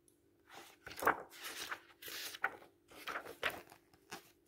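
Paper pages of an open paperback book are lifted, bent and turned by hand, producing quiet, dry rustling and crinkling bursts with a few sharper papery snaps. Each burst is brief and bright, over a faint steady low hum.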